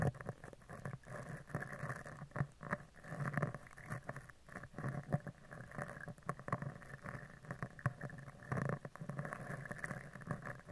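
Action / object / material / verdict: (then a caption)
scrape / woven steel microphone grille brushed with a bristle brush / steel mesh / none. A mascara spoolie brush with dark plastic bristles and a clear handle is rubbed and scratched across the top of a round, hollow, woven steel mesh microphone grille. The result is a dense, close, low-heavy scratchy patter of many quick, short strokes with brief pauses between bursts.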